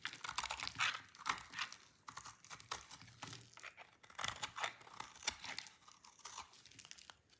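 A utility knife blade shaves a solid, dry red-orange soap bar into crunchy shreds. The clip is a rapid series of short, bright, dry crunching and scraping bursts with almost no low end, each stopping quickly without ringing.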